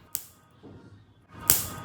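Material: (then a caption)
Fried jackfruit. Freshly fried raw jackfruit chips, sprinkled with a little garam masala, give two sharp, bright crunches with a softer rustle between them. The crisp snaps show the chips are crispy.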